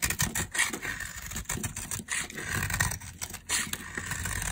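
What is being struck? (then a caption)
Soap bar carved with a metal blade. A metal blade scrapes and carves thin, crumbly curls off a solid, palm-sized, peach-colored dry soap bar held in the hand. The result is a run of dry, bright, rasping scrapes with a gritty crackle and a soft low rumble beneath, rising and falling with brief pauses between strokes.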